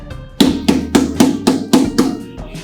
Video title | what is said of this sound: Sugarcane Juice Machines🎋 - Sugarcane 202 and 304 Machine Live Demo Comparison✅ - गन्ने का रस मशीन | Heavy माल रहता है, मजबूत। या फील करेंगे, टक टक टक टक आवाज आ रही है